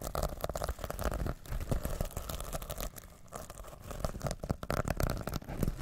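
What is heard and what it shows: Fingertips and nails scratch and flip the sequins on a reversible rainbow and silver plastic sequin pouch held over the microphone. The result is a dense run of crinkly, tearing-like scrapes and quick clicks with a heavy low rumble underneath. Short quieter gaps open between bursts.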